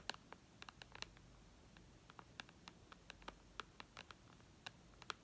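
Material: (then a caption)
Glass. Long red nails tap the glass screen of an iPad lying flat, making 22 quick, light, bright clicks at an irregular pace. Each tap is sharp and dies away almost instantly over a faint background hiss.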